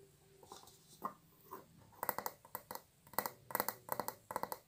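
A large, round, hollow white frosted glass light bulb with a metal screw base is held in both hands and tapped and scratched with long acrylic nails. Soft, faint scratching and light taps in the first half give way to a run of sharper, bright glassy clicks with a brief hollow ring that dies away almost at once.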